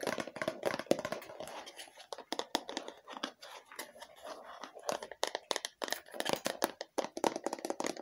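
A hollow red plastic lotion bottle with a printed label is tapped and scratched with long fingernails. It gives dense, rapid clicks and scratchy rustles with a hollow plastic tone near 550 Hz, each tap dying away almost instantly.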